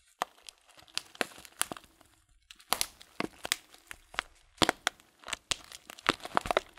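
Hands squeeze and crinkle a tall transparent plastic bag full of loose dried fruit tea. Sharp, bright crackles come in quick bursts with short quiet gaps between them, each one snapping off almost at once. The sound is crisp and papery, with very little low end.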